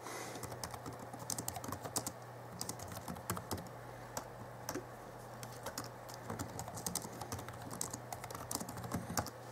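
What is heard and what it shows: Fingertips type on the backlit chiclet keyboard of a 2011 Alienware M11x R2 laptop, with its plastic keys giving a rapid, uneven run of short, crisp clicks and taps. A steady low hum sits underneath throughout.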